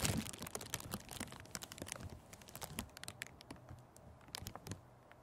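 Fingertips press and crinkle a thin sheet of clear cellophane gift wrap wrapped around a microphone windscreen. The result is a rapid, irregular series of sharp, bright crackles and snaps over a low, soft rumble. The crackles are loudest at the start and grow quieter toward the end.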